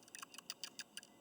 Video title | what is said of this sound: Ford Ranger PCV | you shake it and it rattles, it means you're still good. The little spring inside isn't stuck open or stuck closed.